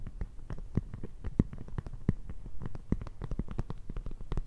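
Long red nails tap and scratch on an empty-looking, flexible clear PVC zip pencil case with black fabric zipper trim. The result is a rapid, irregular stream of soft, dull, low taps that die away almost at once, mixed with light plasticky scratching.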